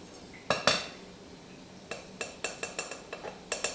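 Three small, freshly cast bronze bars are knocked and clinked together while still hot, giving 12 short, bright metallic clinks with a quick ring. The bars sound like solid metal, and one has already solidified.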